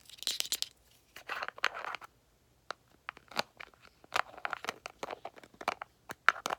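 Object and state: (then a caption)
Plastic cosmetic cream jar. A small, round, white L'Oreal Revitalift cream jar, a hollow container that is likely plastic, is held in both hands and scratched and tapped with long manicured nails. Quick bursts of sharp, dry clicks mix with crinkly scratching, separated by brief pauses. Each tap stops instantly with no ring.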